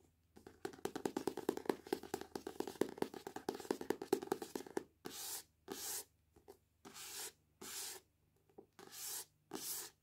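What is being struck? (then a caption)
Paperback book with glossy card cover. Long painted nails scratch and rub the glossy card cover of the paperback novel "The Selection," held in both hands over a wooden table. For about five seconds there is a dense, fast patter of dry clicking scratches, then six separate bright, hissy rubbing strokes with short silences between them.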